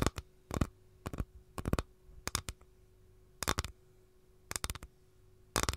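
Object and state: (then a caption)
Capiz shell tray tapped with nails. Long gold nails tap on the edge of an empty capiz shell tray held edge-on. The taps come as short, dry bursts of quick clicks spread across the clip, with no ringing and a faint steady hum between them.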